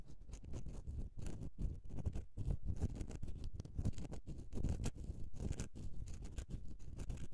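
Long nails scratch across the embossed face and sides of a solid bar of soap in quick, continuous strokes. The result is a dense, close, low-heavy scratching patter with brief bright flecks and very little ring after each stroke.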